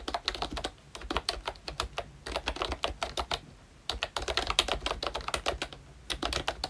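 Fingertips type continuously on a ROYCHE Disney Mickey Mouse retro membrane keyboard, a plastic keyboard with round keycaps. Rapid bursts of short, dry, bright plastic clicks come in runs with brief pauses between them, and each keystroke dies away almost at once.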